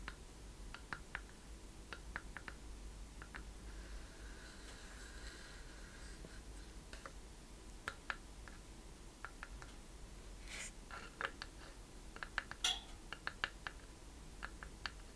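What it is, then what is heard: Wooden chest with metal fittings. A small hollow wooden treasure chest with metal corner brackets, studs and a latch is held up in both hands and tapped with long painted nails. About thirty short, dry, bright clicks and taps sound at an uneven pace, each dying away almost instantly, over a quiet low background hum.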